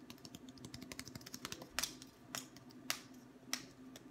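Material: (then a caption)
Wood. A long, thin, solid wooden ruler, held at various angles, is tapped with the fingertips along its length. A quick, uneven run of light, dry, clicky taps is followed by four louder, sharper, bright knocks, each dying away almost instantly over a faint steady low hum.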